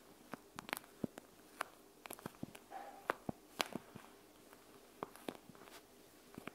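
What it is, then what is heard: Plastic gel bead eye mask. Long acrylic nails tap and scratch a panda-face eye mask of clear plastic filled with gel beads, lying flat on a wooden table. Quiet, sharp clicky taps with short bright tips ring out irregularly, with a brief soft scratching rub in between, over a low, quiet background.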